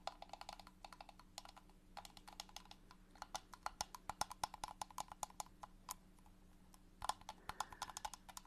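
Long nails tap the sides of a small transparent plastic box with a green lid, full of liquid. Quick, irregular bursts of sharp, dry clicks have a hollow midrange knock and bright tops, each dying away almost at once. The tapping pauses briefly near the end before resuming, over a faint steady low hum.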